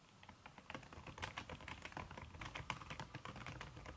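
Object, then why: Laptop keyboard with silicone cover. Fast typing with fingertips and long red-painted nails on a backlit aluminium laptop keyboard, its plastic keys covered by a red silicone skin. Heard as a quick, steady patter of soft, slightly muffled key taps with bright clicky edges and a low thump beneath each press.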